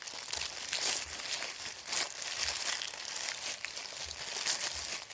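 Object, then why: Printed paper sheet. A thin sheet of printed white paper is crumpled and folded in the hands, with fingers crinkling and squeezing it. The result is a steady, bright crinkling and crackling that swells and dips in waves, with almost no low end.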